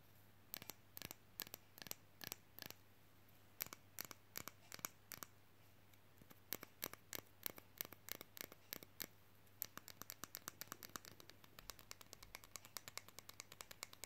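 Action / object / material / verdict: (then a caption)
tap / thin flat plastic fridge magnet / plastic / none. Long fingernails tap and scratch a flat, hand-sized, thin and solid plastic fridge magnet printed with Groot from "Guardians of the Galaxy." Sharp, bright clicks come in spaced bursts at first, then speed up into a rapid, dense run of dozens of quick taps over a faint low hum.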